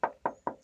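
Three quick knocks on a car's steel rocker panel below the door give short, hollow metallic taps with a clear midrange ring that fades quickly. The panel is original, never rusted through, welded or repaired.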